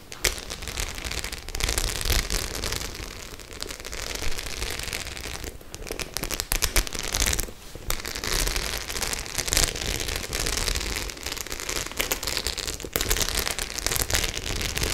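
Long acrylic nails scratch and tap across the rows of small metal studs on a flat white faux leather clutch bag held in both hands. The result is a dense, bright crackling of clicks and scrapes with a low rumble underneath, nearly continuous for the whole clip apart from brief lulls around the middle.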